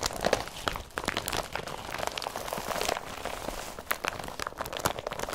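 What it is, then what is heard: Woven polypropylene carrier bag. Fingers crinkle and scrunch an empty blue woven polypropylene IKEA BRATTBY carrier bag, producing a steady run of dry, crisp rustles and crackles. Sharp, bright snaps stand out above a soft, continuous crinkling texture.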